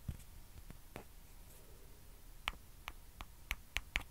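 Long dark fingernails scratch and rub the surface of a small, hollow white plastic ping pong ball held in the fingers. Seven sharp, bright clicks stand out against a quiet hiss, bunched closer together toward the end. Each click stops almost at once.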